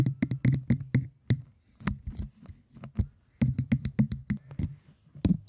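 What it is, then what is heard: Cork tapped. Cork is tapped in a quick, rhythmic series of dull, low knocks with a faint bright click on each. Each tap dies away almost at once. A brief lull in the middle separates two denser bursts of tapping.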